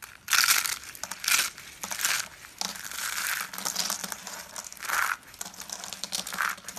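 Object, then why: Soap curls. Small hollow yellow and blue striped dry soap curls are squeezed and crushed in the palms into small flakes. Dry, bright crunching and crackling comes in loud bursts, some short and some longer and sustained, with quieter crinkling between them. A faint steady low hum sits underneath.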